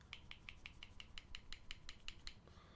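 An MTech Golden Boot Dagger with a stainless steel blade and ABS handle is shaken, producing a quick series of 13 light, bright metallic clinks. The rattling comes from something loose inside the handle, a fault, since a knife should be secure and sturdy and not rattle like this.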